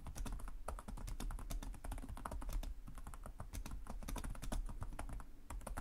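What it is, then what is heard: Plastic laptop keyboard. Both hands type rapidly with their fingertips and short nails on the plastic chiclet keys of a black laptop resting on a desk. The result is a steady, dense stream of quick, dry clicks with bright tops over a soft low thump, continuing for the whole clip.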